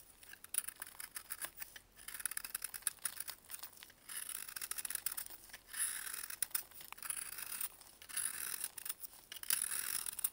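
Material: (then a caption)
Baking soda. A hand-sized, solid, chalky block of dried baking soda, held in a blue-gloved hand, is scraped and carved with a metal utility blade, and flakes fall onto cardboard. The sound is a stream of dry, bright scraping and crackling strokes in bursts, with almost no low end.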